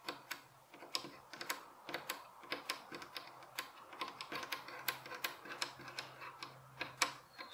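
Fingernails tap quickly along the top edge of a solid light wooden bed headboard rail with visible wood grain. The result is a quiet, irregular run of sharp, bright, typing-like clicks that die away almost instantly.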